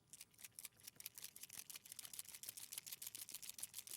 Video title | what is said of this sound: 15/01/2025 - Creative Expressions, Crafter's Companion & Tonic Mega Deals | when the ball bearing is free flowing that means it's mixed